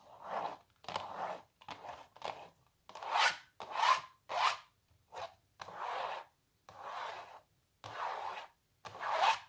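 Long natural nails scratch the surface of a small printed canvas on a wooden stretcher frame, hollow behind and lying on a larger painting. The result is a series of separate dry, raspy strokes, each a bright rubbing scrape centred in the midrange with almost no low end, stopping cleanly between strokes.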